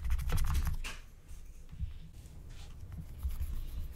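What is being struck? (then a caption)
Scratch-art coated paper sheet. A wooden stylus, held with long painted nails, scratches the coating of a thin black-coated scratch-art card lying flat. Quick, dry scratching strokes with bright rasping edges sound loudest in the first second, then continue more softly and unevenly over a low rumble.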